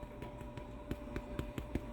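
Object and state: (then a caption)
Hollow-sounding baked bread loaf (done). A freshly baked whole wheat bread loaf, out of the oven after about 40 minutes at 350°, is tapped on the bottom in a quick series of soft, low, hollow knocks over a steady background hum. The hollow sound shows the loaf is done rather than underbaked, which would give a dead-sounding thud, so it is taken out to cool.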